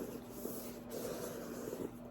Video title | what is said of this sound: ASMR Soft Spoken Book Haul (Tapping, Scratching) | still has a smooth sound, but it's a little bit deeper and it has this engraving like on the front that makes that nice sound